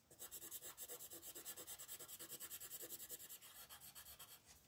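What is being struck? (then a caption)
Thin paper sheet shaded with a wooden colored pencil. A red wooden colored pencil shades the scarf area of a thin white paper coloring sheet with fast, scratchy rubbing strokes while the other hand steadies the sheet. About 25 quick, bright, raspy strokes follow one another in a steady back-and-forth rhythm, mostly high-pitched hiss with very little low end.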